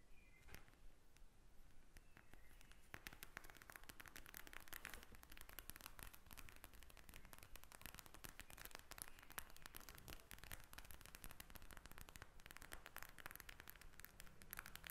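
A pink gel-bead eye mask with a plastic cover lies flat and is scratched and tapped with long red nails. Dense, fast crackling scratches and clicky taps run continuously and quietly for the whole clip.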